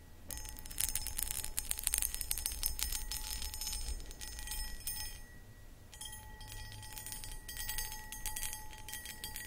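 Long acrylic nails tap and scratch a medium-sized, empty, hollow clear cut glass footed pedestal bowl held in both hands. The result is a dense, irregular run of quick bright clicks and scrapes, with a faint steady ringing tone underneath. The sound fades briefly in the middle before starting again.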